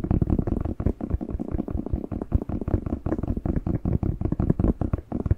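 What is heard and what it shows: A whole fresh, hollow, hand-sized red bell pepper is held in both hands while fingertips tap and scratch its skin close to the mic. The result is a rapid, steady stream of soft, dull, low thumps and rustling scratches that stop short with almost no ring and no bright or high edge.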